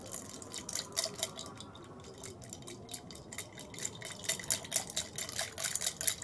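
Long red nails tap and scratch a tall clear glass tumbler holding ice and a little purple-tinted liquid, set on a white plate, while the glass is tilted and the ice clinks. The result is a quiet, irregular run of short, bright clicks and taps with light scratching, growing busier and louder toward the end.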